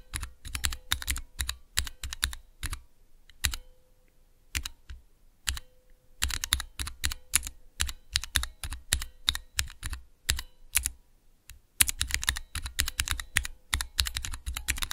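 Fingertips rapidly press the keys of a small clear plastic Cherry MX switch tester with transparent keycaps. Bursts of sharp, bright clicks and clacks with a low thock underneath are broken by brief pauses. A faint steady hum sits beneath the typing.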